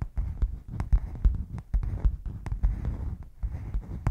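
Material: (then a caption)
Faux leather. Fingernails scratch and tap along the edge and underside of a hollow, closed red padded faux leather zip hard case, held flat and tilted. The result is a steady stream of soft, muffled low thumps mixed with faint scratching, with each tap dying away almost at once.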